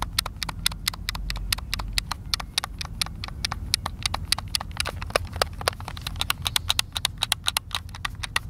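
Fingertips repeatedly click the face buttons and sticks of a hollow, hand-sized white plastic Xbox controller held in the hands over a picnic table. The result is a rapid, irregular string of sharp, bright clicks that stop instantly, over a steady low rumble.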